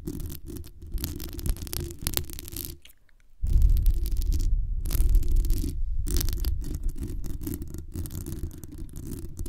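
Long acrylic nails scratch the sides and top of the hollow metal mesh grille on a black condenser microphone. The result is a dense, deep rumbling scrape with faint bright crackle above it. It pauses briefly near the three-second mark, then returns louder and keeps going steadily.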